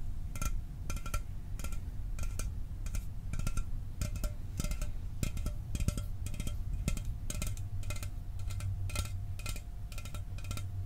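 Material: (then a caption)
Aluminum. A sealed, hollow 12 oz Mountain Dew aluminum soda can is held in one hand and tapped with fingernails and fingertips. The result is a steady run of quick, dry taps with bright clicky edges over a deep, hollow low thump. Each tap dies away almost instantly.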